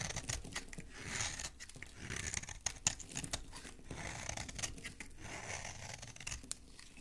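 A metal blade scrapes a solid green oval soap bar held in the hand, shaving off crumbly green soap flakes. Quiet, dry, crunchy scraping and crumbly tearing sounds follow one another in uneven strokes, mostly bright and hissy with a soft low rumble underneath.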